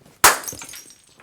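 A rubber racquetball cooled in liquid nitrogen is dropped and shatters like glass with a sharp, bright crash, followed by a brief tinkling scatter of fragments. The cold has made the rubber brittle.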